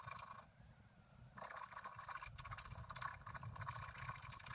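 A pointed wooden stylus scratches short strokes across the flower area of a flat black-coated scratch art paper card lying on a table, while the other hand steadies the card. Dense, bright, papery scratching with a faint tone near 1.1 kHz fades quieter for about a second early on, then returns as a steady run of quick overlapping strokes to the end.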